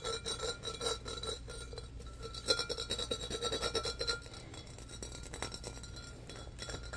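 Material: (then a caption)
Glass. Fingernails scratch and tap the patterned body and rim of a medium-sized, empty, hollow embossed glass pitcher. The result is a fast, irregular run of bright rasping scrapes and light glassy clicks with a faint high ring that fades almost at once. The scratching is busiest in the first four seconds and then settles into a softer, steadier rasp.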